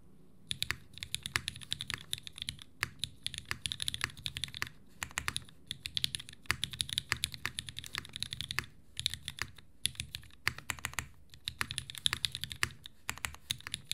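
A compact 60% Unikorn R2.1 mechanical keyboard in a green aluminum case with an aluminum plate, vintage Cherry MX Black switches and white and green GMK ABS keycaps rests on a desk mat as two hands type steadily across the keys with their fingertips. The result is a rapid, continuous run of short, bright clacks and taps with very little ring, over a faint low thud beneath each stroke.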